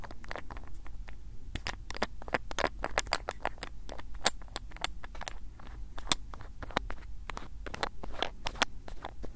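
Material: Glass, plastic.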